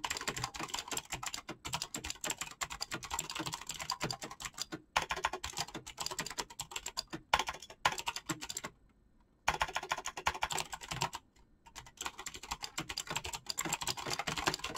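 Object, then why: Mechanical keyboard with PBT plastic keycaps and clicky switches. Fast fingertip typing on a black mechanical keyboard with clicky switches and PBT plastic keycaps gives a dense, continuous stream of sharp, bright clicks. The typing stops briefly near 5 seconds, pauses for almost a second around 9 seconds and again near 11.5 seconds, and each time resumes at the same rapid pace.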